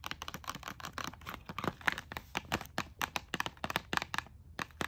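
Long nails tap and scratch along a blister-packed pink plastic hairbrush and comb set lying on a paper bag. About 25 quick, dry, crinkly clicks and scrapes sound in an uneven rapid run, with no ring after each hit.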